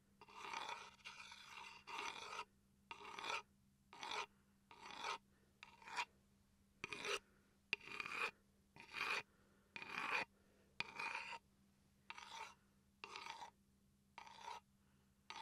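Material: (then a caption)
Wood. A small solid wooden chopping board, held upright, is scratched along the grain with a wooden pencil and fingertips. It makes a series of short, dry, bright rasping strokes separated by brief silences.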